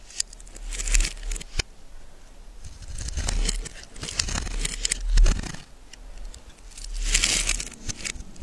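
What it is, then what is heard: Bar soap being scraped. A solid yellow bar of soap is held in the hand and scraped and carved into curled shavings with a small metal blade, and the crumbly flakes pile up. Dry, crinkly scraping swells in several bursts, with bright crackle over a low rumble and a few sharp clicks in between.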